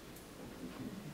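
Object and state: Nothing is struck.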